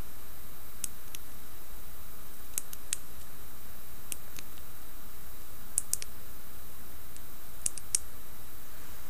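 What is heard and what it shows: Long fingernails tap and scratch the front and base of a solid, hand-sized, dark reddish-brown carved wooden seated Buddha figurine. Sparse, faint, bright clicks and ticks sound over a steady low hum and soft hiss, with only a few taps standing out slightly louder.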